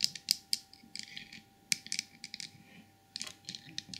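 Long purple nails tap and scratch the glazed body and head of a small glossy white porcelain elephant trinket box. Sharp, bright clicks arrive in a quick, uneven series, mixed with soft scratchy rustles. The sound is quiet, with no ring after each tap and a faint steady tone underneath.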